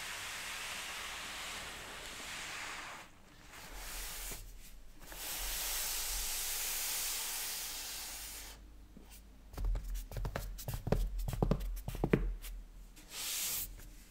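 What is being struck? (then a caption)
Cardboard retail box. Gloved fingertips hold, rub and slide across the surface of a large, closed, printed cardboard retail box for a Nintendo Switch Animal Crossing edition with the console inside. Soft, broad hissing swishes of rubbing come and go for the first several seconds. Then a quick run of light scratches and taps follows, with short, dry clicks over a low, quiet rumble.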